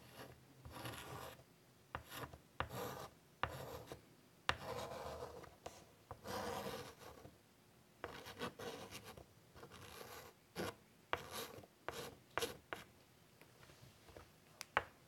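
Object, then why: Chalk on a wood-framed chalkboard. White chalk is drawn across a large, flat, wood-framed chalkboard while doodling, producing bursts of dry, rasping scratches. Sharp ticks of the chalk striking the board punctuate the strokes, with quiet pauses in between.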